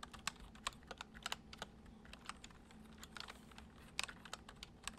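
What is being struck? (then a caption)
Plastic computer keyboard. Both hands type with their fingertips on a white plastic computer keyboard, producing quick, irregular, bright clicking keystrokes that stop almost instantly. A faint, steady low hum sits underneath the typing throughout.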